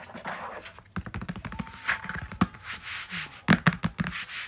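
A large, flat blue cardstock folder is held up in one hand and rubbed and scratched with the fingers. Soft, dry papery rubbing alternates with a rapid run of short, sharp scratches and taps, some with bright crisp edges. Each sound stops almost at once with no ring.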